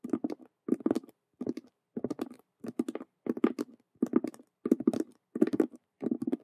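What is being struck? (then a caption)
Patent vinyl cube handbag with stitched panels. Long nails tap rapidly on the colored stitched squares across two faces of a hollow patent faux leather (vinyl) Rubik's cube handbag. The result is quick clusters of dry, muffled taps with a low-mid hollow body, arriving in about ten short bursts separated by brief pauses. Each tap stops dead with no ring.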